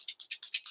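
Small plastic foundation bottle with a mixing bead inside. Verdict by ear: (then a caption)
Loose. A makeup foundation bottle is shaken to remix pigment that has settled, and the mixing bead inside rattles. Six quick, bright clicks sound in a steady rhythm, each dying away almost instantly, with nothing in the low end. The rattling bead is heard clearly, as it should be.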